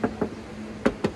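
Knuckle knocks on the sheet-steel body panel of a 4x4 give four short, dull, tinny raps in two pairs, with a low tone around 220 Hz and almost no ring. The panel is bare sheet metal with only a thin layer of body filler.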